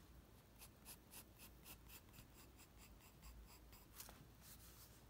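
A graphite pencil held in the fingers scratches and sketches lines of the Ghostbusters logo onto a flat white sheet of drawing paper on a desk. Quiet, rhythmic bright scratching strokes repeat steadily over a low, constant background hum, with one sharper stroke near the end.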